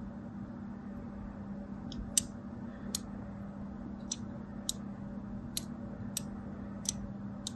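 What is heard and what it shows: A craft blade scores crosshatch lines into the surface of a solid striped bar of soap held in the hand. Short, crisp, bright scratching cuts, about nine of them, stand out over a low, steady hum.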